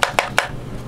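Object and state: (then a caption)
Hollow-sounding plastic earbud charging case. Three knocks on the all-plastic charging case of Lenovo Thinkplus T50 wireless earbuds give short, bright, hollow taps that die out almost at once. The case sounds hollow and not solid, and its lid wobbles a little, possibly because the case is fairly large.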